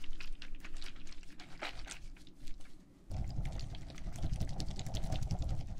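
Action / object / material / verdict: shake / plastic tumbler filled with gel water beads / plastic, gel / none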